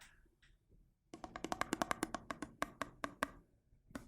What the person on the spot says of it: en tapping, avec le changement de son en fonction de l'eau